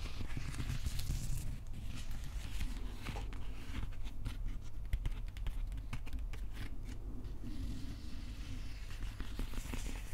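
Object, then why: Wrapped plastic handle of a replica axe. Fingertips and nails scratch the wrapped plastic handle of a replica prop axe, giving a dense, continuous dry scratching with brief crackly ticks over a steady low hum. The level stays even for the whole clip with no clear pauses.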